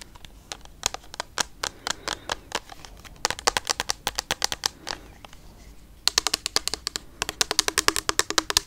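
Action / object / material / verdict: tap / plastic foam pump bottle / plastic / none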